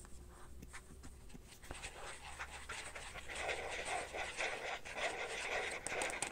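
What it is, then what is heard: Carbon-pattern phone case being scratched. Fingernails scratch the back and the inside of a carbon-fiber-pattern phone case, first while it lies flat and then while it is held up. The quiet, papery scratching starts over a faint low hum and grows louder and brighter about halfway through, becoming dense rhythmic rasps with sharp high ticks.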